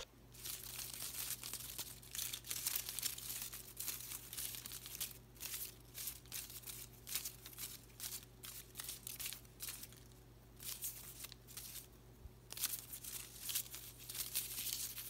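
Fingertips brush, rub and crinkle the thin plastic leaves of an artificial potted willow plant with bamboo-like stems. The result is bright, dry crinkling and rustling in a run of uneven bursts over a faint steady low hum.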